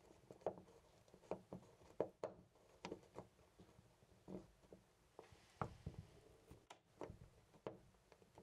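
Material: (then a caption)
Brass. A loose, round brass-finish door knob on a white panel door is repeatedly gripped and jiggled by hand. It makes a series of quiet, short, dry rattling clicks and knocks with a mid-range tone, separated by faint background hiss.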